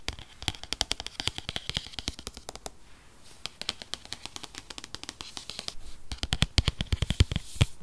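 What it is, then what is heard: Cardboard product box. Fingernails tap rapidly across the front and edges of a rigid white paperboard box for a 2020 8th-generation iPad, a tablet-sized product box that holds the iPad. Dozens of short, dry, bright clicks with a faint low thump fall in quick bursts, with brief pauses near 3 and 6 seconds. The taps grow louder and sharper toward the end.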